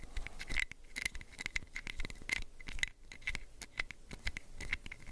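Fingernails scratch and rub the ridges of the white cap and the sides of a small orange plastic prescription pill bottle held sideways. Quick, dry scratches and light ticking taps repeat throughout, with bright clicks ringing near 2 kHz over a soft low rumble.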